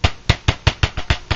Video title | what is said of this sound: Speaker Voice Coil Rub - Lab Series L7 | when you tap it very similar again a speaker shouldn't sound like that